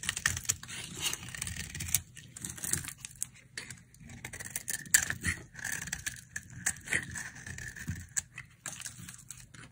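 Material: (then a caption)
Soap. A solid, dry pink soap bar is held in the hand and scraped and carved with a utility knife blade, peeling off thin dry shavings. The sound is a series of crisp, bright, scratchy scraping strokes with a faint whistling tone around 1.7 kHz and short gaps between passes.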